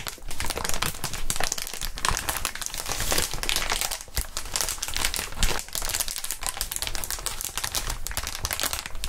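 Gloved fingertips bend and crinkle clear plastic inflatable air-column packaging made of hollow tubes. The result is a dense, steady stream of bright crackling and crinkling with soft low thuds underneath, continuing without pause through the clip.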